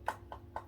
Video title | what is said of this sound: The Quietest Aquarium Air Pump Around! | you tap there your ears are much more solid sound hence the bump is a lot quieter